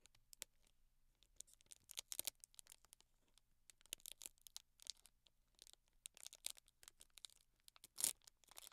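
Fingertips quickly tap and drum on the top surface and edge of a closed, rectangular cardboard Penhaligon's fragrance gift set box wrapped in clear plastic film. The result is a quiet, steady patter of short, bright, crinkly clicks with almost no low end, coming in uneven bursts. A sharper crackle stands out near the end.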